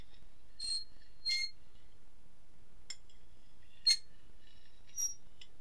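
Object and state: Ceramic plate tapped with a fork.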